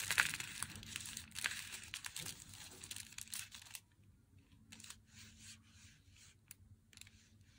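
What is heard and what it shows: Long nails tap and scratch the printed front of an unopened, glossy, flat Meiji Black Chocolate cardboard box held in both hands. For the first four seconds there is dense, bright, papery scratching with sharp ticks, then the sound turns quieter and sparser, with scattered scratches and light taps. A faint low hum sits underneath the whole time.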